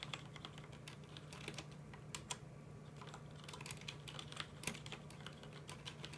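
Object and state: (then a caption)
Plastic mechanical keyboard. Both hands tap with fingertips on a full-size black plastic mechanical computer keyboard with red keycaps, producing a quiet, fast run of short, bright key clicks. The clicks stop quickly with no ring, and a steady low hum sits underneath throughout.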